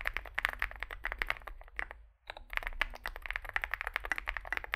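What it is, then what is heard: Mechanical keyboard with plastic keycaps. Fingertips type continuously on a small Zoom65 65% mechanical keyboard with a dark case and white and grey plastic keycaps, producing rapid, sharp, bright clacks with almost no ring. The steady typing breaks for a brief pause just past the two-second mark, then resumes at the same quick pace.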